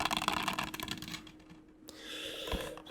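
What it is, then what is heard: Loose disc rattling in a Blu-ray case. A plastic Blu-ray case for The Boondock Saints 2 is shaken with its disc loose inside, giving a quick burst of bright, dry clicking rattles. The rattling thins out and fades, leaving a quieter stretch with a faint steady hum and soft noise, and the loose disc sounds nicely rattly.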